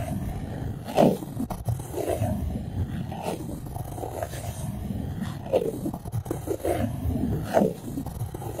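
A white styrofoam plate resting on top of a microphone is rubbed and scratched with long acrylic nails. Low, rough scraping fills the clip, broken by loud squeaks with bright streaks near 1, 5.5 and 7.6 seconds.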